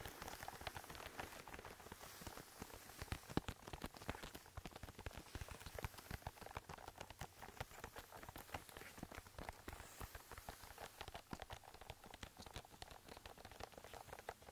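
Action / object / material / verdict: scrape / whole raw green cabbage head / cabbage leaves / none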